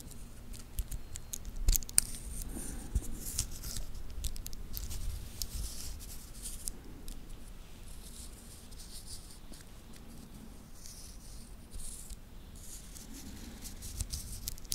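A small solid-link titanium watch band is held in the fingers, which bend and roll its links. The result is a quiet, continuous stream of light, bright metal-on-metal clicks and rattles, with a couple of sharper clicks near the start.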